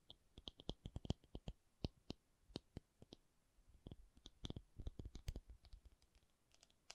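A rubber object is tapped in a quick, irregular series of short, dry clicks over about seven seconds. Each tap has a soft, low thump with a bright tick on top and dies away instantly with no ring. The taps crowd closer together in the middle before thinning out again.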